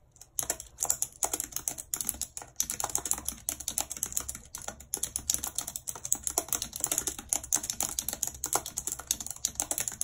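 Long red acrylic nails type rapidly on the hollow keys of a full-size white plastic computer keyboard with a numpad, lying on a world map. The result is a dense, steady stream of sharp, bright clicks and taps with almost no low end, each one dying away instantly.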